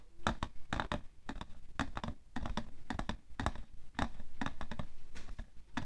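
Painted fingernails quickly tap the side of a hollow, printed cardboard tissue box full of tissues, resting on white fur. The taps come as a fast, irregular run of dull, clicky knocks with a low, hollow body. Each one dies away almost instantly.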